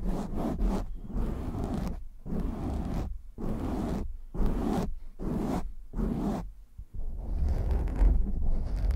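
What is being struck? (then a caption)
Foam microphone windscreen. Fingertips scratch fast and hard on a black foam windscreen on a microphone, and hands cup it, making dense, muffled bursts of scratching and rustling heavy in low rumble. The bursts come in quick succession with short gaps, then give way to a steadier, boomy rubbing at the end.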